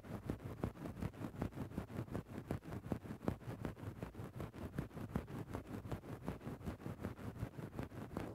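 A wooden stick tip is worked into a grey synthetic faux-fur microphone windscreen with repeated scratching motions. About 21 short, muffled scrapes come in a steady rhythm, close and bass-heavy with little brightness. Each stroke is a soft rustle that dies away almost at once.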